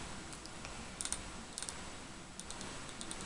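A small glass candle jar filled to the top with solid green wax is tapped with fingernails while held in both hands. The taps come as light, bright clicks, some in quick clusters, over a steady low background hiss.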